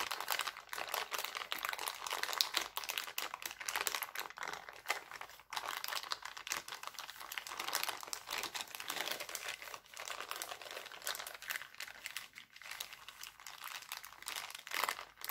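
Hands stretch, crinkle and press an empty, thin, clear heart-printed cellophane bag. The result is a steady, dense stream of bright, crackly crinkling with sharp, quickly fading snaps and almost no low end, lasting about fifteen seconds.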